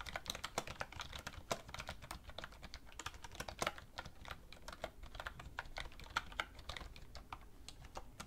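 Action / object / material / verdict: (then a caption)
tap / plastic computer keyboard / plastic / none. Two hands with red-painted nails type steadily on a black plastic computer keyboard resting on a wooden desk, tapping the plastic keys with fingertips and nails. The result is a continuous run of sharp, short, bright clicks with uneven accents, heard over a faint low background hum.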